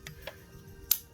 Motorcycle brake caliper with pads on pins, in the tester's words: when you hear that then you know for sure when you're shaking it because the extension bar is out that everything is where it needs to be